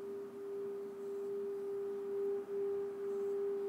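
A small, empty, hammered brass singing bowl resting on an open palm is rubbed around its rim with a wooden, leather-wrapped mallet. A steady, sustained tone near 406 Hz sings with faint higher overtones. The level swells and dips slightly as the mallet circles, with brief dropouts.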